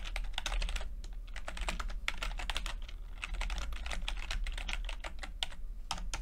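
Fingertips tap the plastic keycaps of a backlit chiclet computer keyboard while typing, giving a steady stream of quick, dry, bright clicks with almost no ring. A constant low hum sits underneath the typing throughout.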